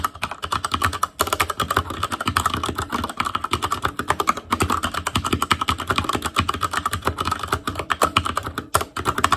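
Fingertips of both hands type continuously on an ASUS ROG Claymore Core mechanical keyboard with Cherry MX Red switches, black plastic keycaps on a metal frame, and a hollow, RGB-backlit housing. A dense, steady stream of sharp, short clicky taps centers around 1.1 kHz, with a light low thump beneath. Brief pauses break the flow now and then.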